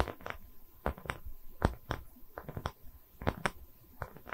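Long nails scratch the cut face of a round, solid wooden tree-slice coaster with growth rings, held in both hands close to the mic. Short, dry scraping strokes come in an uneven rhythm, each a brief broadband burst over a faint low rumble, with little ring between them.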